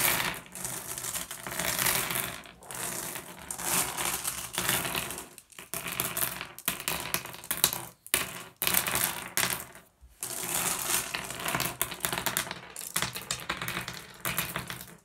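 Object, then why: Small glass gem pebbles. Fingers gather small solid blue glass gems into a cupped hand and pour them back onto the pile. Dense, bright clicking and rattling clatter runs almost continuously, broken by a few brief near-silent pauses between handfuls.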